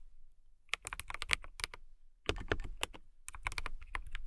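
Fingertips with long nails type on a transparent acrylic mechanical keyboard with clear keycaps. About 17 sharp, bright clacks with a low thump land in two quick bursts separated by a short pause, and each stroke stops almost instantly.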